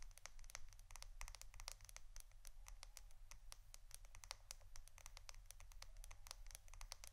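A roll of plastic adhesive tape is tapped and scratched for ASMR, producing a rapid, steady stream of short, bright clicks and scratchy ticks with almost no ring. A constant low hum sits underneath throughout, and the overall level stays quiet.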